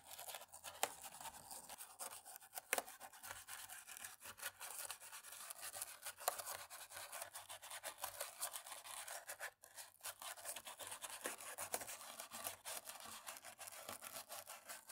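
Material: Plastic.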